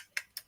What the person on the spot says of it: It has a very different sound. So you can kind of tell between plastic and glass.